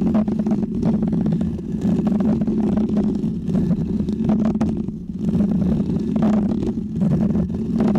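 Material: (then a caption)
Foam. A small, round, white textured foam microphone windscreen is scratched with fingernails and fingertips. The result is a steady, dense, low rumbling scrape with a strong hum-like band near 200 Hz and brief brighter crackles throughout.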